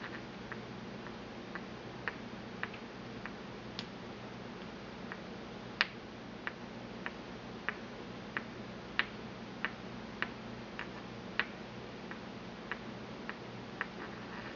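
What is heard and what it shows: A porcelain pestle taps inside a small, empty white porcelain mortar held in the palm. It makes a steady series of short, bright, high clicks with almost no ring, over a faint low hum.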